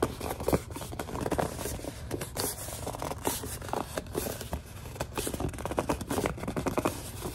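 Long dark nails scratch and tap a large white plastic Suave lotion bottle while it is gripped. The result is a dense, close run of dry scratching and squeaky grip sounds, broken up by quick, dull taps that die away almost instantly.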